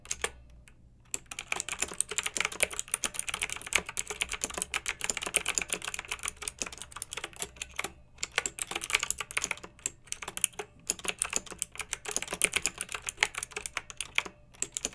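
Fingertips with long nails type steadily on a pink backlit plastic mechanical keyboard with round, typewriter-style plastic keycaps. It makes a dense run of quick, bright, clicky clacks that stop dead after each hit, with a few brief pauses between bursts.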